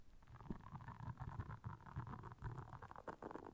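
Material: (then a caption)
Silicone. Long nails scratch across the soft bristles of a solid, round, flat blue silicone scrubber pad lying on black fur. The result is a dense, continuous rasping and scratching with a deep, rumbling, gurgle-like low end and a softer mid-range brush texture throughout.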